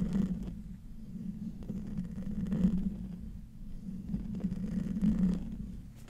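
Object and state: Metal mesh microphone grille being scratched.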